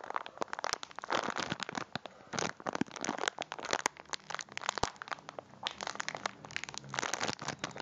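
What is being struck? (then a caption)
Plastic biscuit packet wrapper. A full cylindrical packet of biscuits in a crinkly plastic wrapper is held in both hands and squeezed and crinkled with the fingers. It makes a steady run of bright, dry crinkles and sharp crackling snaps. The sound is midrange-centred with little low end, and each snap dies away almost at once.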